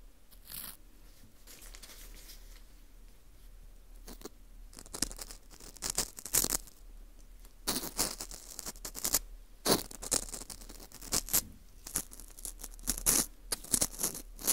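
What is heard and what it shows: A green plastic screw earpick scrapes inside the hole of a small, hollow ring of dry, porous baked wheat gluten (fu) held in a gloved hand. Bright, crisp scratching and crunching bursts come in quick, uneven strokes, separated by quieter stretches of faint rustling.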